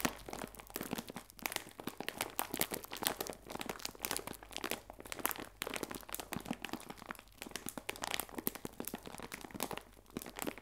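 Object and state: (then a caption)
Plastic bag of biscuits. A clear plastic bag full of biscuits is squeezed and crinkled by fingertips. The result is a dense, continuous run of sharp, bright crackles and crunches with quick bursts and no ring, over a faint steady low hum.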